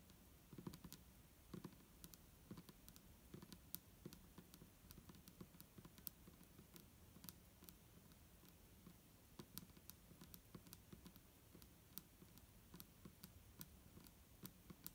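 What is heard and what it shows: Long nails tap the sides of an upright clear plastic micellar water bottle with a green cap, hollow and holding liquid. The quiet, rapid, irregular taps have a dull low body and sharp, bright clicks that die away almost instantly.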